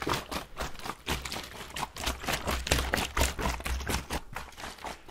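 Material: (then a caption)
Plastic. A clear plastic water bottle with a blue cap, partly filled with water, is held in a gloved hand and shaken and tilted close to the microphone. The water sloshes in quick, loosely rhythmic wet bursts, with a low thumping body under bright, splashy swishes.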